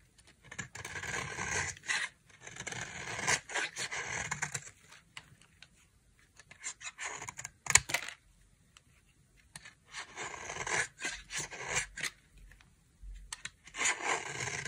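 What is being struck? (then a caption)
Bar soap shaved with a blade. A solid, dry pink bar of soap is held in the hand and shaved along its edge with a utility knife blade. Bursts of bright, dry scraping and cutting strokes are separated by short silent pauses.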